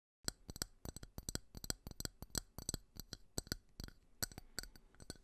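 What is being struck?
Small ridged glass tumbler.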